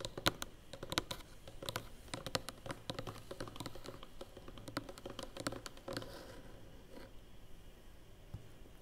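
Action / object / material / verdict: tap / large closed cardboard box / cardboard / none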